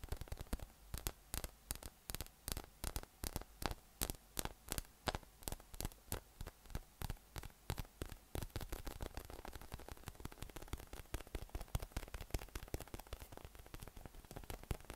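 A yellow, hollow, inflated PVC spiky massage ball with nubs is held up in one hand and tapped from below with the fingertips. Quick, dry taps come in a steady rhythm at first, then speed up into a dense, rapid patter. A faint low hum sits underneath throughout.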